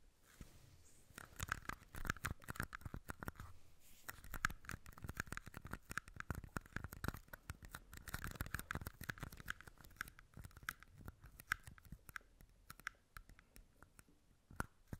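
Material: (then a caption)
Plastic. Fingertips tap and scratch two small red plastic party cups, hollow and empty, with their openings turned toward the mic. Fast, dense clicks and scratchy rasps overlap throughout, each tap short and dry with a hollow, plasticky tone in the upper midrange. The sound stays quiet and close, with no lingering ring.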